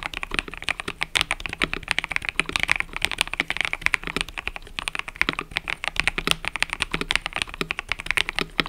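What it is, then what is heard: Mechanical keyboard with plastic keycaps. Fingertips, some with rings on the fingers, type rapidly on a full-size mechanical keyboard with cream and purple plastic keycaps resting on a desk mat. A continuous stream of short, crisp, bright clacks fills the whole clip, each keystroke dying away almost instantly with very little low end.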